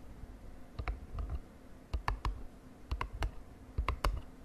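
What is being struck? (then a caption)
Small printed cardboard box tapped with fingernails. Long dark nails tap a small printed, glossy cardboard cosmetic box lying on a bed sheet. Short, dry, hollow clicks with a soft low thump arrive in four quick clusters of two or three taps, each dying away almost instantly over a quiet low hiss.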